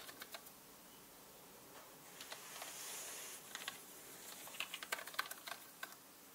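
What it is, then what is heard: Plastic mechanical keyboard. A small orange-bristled brush sweeps over a black mechanical computer keyboard with hollow plastic keycaps. Sharp, bright plastic key clicks come in irregular bursts, with a soft brushing hiss swelling in the middle. The clicks are quiet, short and high, with almost no low end.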